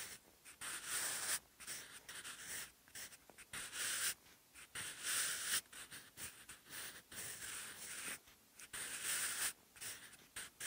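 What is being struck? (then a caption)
Graphite pencil on textured notebook paper. A wooden graphite pencil held in the fingers writes Korean script on cream textured, ruled notebook paper. The graphite gives a continuous bright, scratchy hiss, broken into bursts with brief pauses between strokes.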